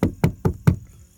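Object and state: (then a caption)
Deadened truck door panel, solid. Four knocks on a truck's sheet-metal back door lined with sound deadening mat give short, low thuds that die away quickly with no ring. The door now sounds solid instead of tinny.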